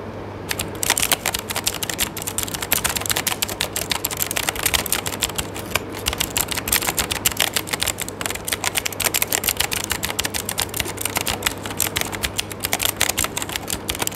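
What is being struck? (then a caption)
Plastic mechanical keyboard. Fingertips type rapidly on an RGB-backlit mechanical keyboard with plastic keycaps over switches, in a dark setting. A steady stream of bright, sharp key-press clicks and taps runs throughout over a faint, constant low hum.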